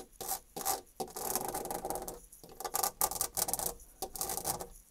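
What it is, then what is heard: Painted molded panel door scratched. Long dark red nails scratch the embossed wood-grain rail and raised panel molding edge of a white painted molded panel door. The result is bright, raspy scratching in short bursts with brief pauses between strokes.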